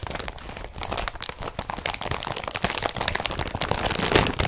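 An empty blue woven polypropylene IKEA BRATTBY carrier bag with straps is crumpled with fingertips and nails, then pressed flat against a surface. A steady run of dense, crackling crinkles and sharp crunchy rustles follows, bright across the highs and growing louder toward the end.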